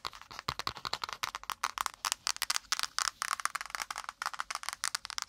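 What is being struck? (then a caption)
Spiral notepad with cardboard cover. Long pointed nails fast-tap and scratch the brown kraft cardboard cover of a small spiral notepad with wire binding, held close to the mic. About 30 quick, dry taps come in a rapid, uneven stream, with brief scratchy rasps between them. The sound is bright and papery, with almost no low end and no ring after each hit.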